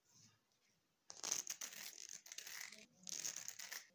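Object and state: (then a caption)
Plastic comb. Fingertips and thumbs run and flick across the fine teeth of a long, solid red plastic hair comb, scratching them. After a near-silent first second, bright, raspy bursts of rapid ticking and crackling start, with a short pause before a final flurry.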